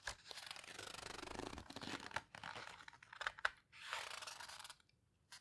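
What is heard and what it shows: Hands flip a heavy paper page in a large open photo book, the Paper Houseboat book, then rub and squeeze the paper with their fingertips. The result is quiet, dry, bright rustling and crinkling in long textured swishes, with a few sharper crackles and short pauses between strokes.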